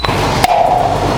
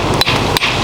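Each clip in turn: First: hollow (delaminated) concrete. Second: solid concrete on bridge underside.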